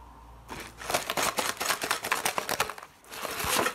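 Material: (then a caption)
Cardboard. An unopened, full Pringles Tortilla Fiery Chilli can, a tall hollow composite cardboard tube with a printed paper wrap and metal end, lies on a wooden board and is scratched and tapped along its side with fingertips and medium-length nails while being rolled and rubbed. After a quiet start, a rapid run of dry, crisp, bright scratches and light hollow taps fills the middle, each dying away quickly. A brief lull follows, then a final stretch of rubbing and scratching.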